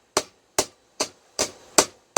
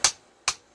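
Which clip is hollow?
The second.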